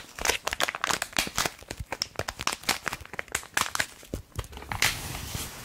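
A small red printed plastic foil bath foam sachet, apparently filled, is held close and tapped and scratched with long acrylic nails. Rapid, bright crinkling and crackling clicks come in quick irregular bursts, ending in a steadier scratchy rustle.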